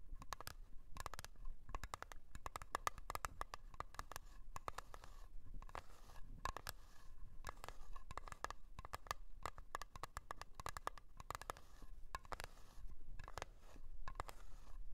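Long acrylic nails tap and scratch across the lid of a small, round, blue metal Nivea Creme tin, which is closed and likely full. Quick, dry taps and scrapes come in steady clusters for the whole clip, each with a faint metallic ping near 1.2 kHz that dies away almost at once, over a muffled low body.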